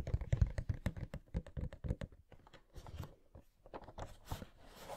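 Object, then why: Cardboard box with clear plastic window. A Pennywise Funko Pop box, made of cardboard with a clear plastic window and hollow with the figure inside, is tapped and scratched with long nails. Dense, quick tapping with a deep, hollow thump comes first, then gives way to softer, papery scratching with brighter hiss in the second half.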